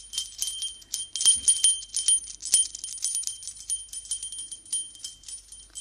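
A small gold-coloured brass bell, hollow with a clapper and hanging from an orange braided ribbon, is held up by the fingers and shaken and swung beside a binaural microphone's ear. It makes a bright, irregular jingle of quick tinkling strikes over a steady high ringing tone, with each strike dying away almost at once.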